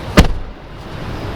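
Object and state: Solid-sounding car door.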